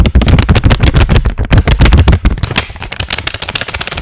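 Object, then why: Paper banknote. A single thin paper 20-euro banknote is held in both hands close to the microphone, folded and unfolded while fingertips crinkle and rub it. Rapid, uneven crackles with heavy low thumps fill the first half, then give way to lighter, brighter rustling crinkles.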